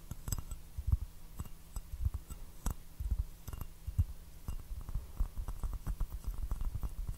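An empty white bone china teacup with a blue floral pattern, held upside down in both hands, is tapped on its hollow body with fingertips and nails. The result is a quiet, irregular series of soft, dull low taps that die away almost instantly, with faint brighter clicks from the nails.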